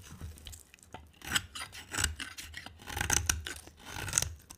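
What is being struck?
Bar soap scraped with a blade.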